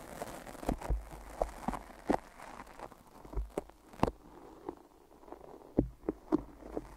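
Long nails and fingertips tap on the sides of white tape-wrapped microphone ears and stick to the tape. Short, sharp clicks and soft sticky pulls and crackles come in an uneven rhythm. The sounds are quiet and mostly low to mid-range, with little high end.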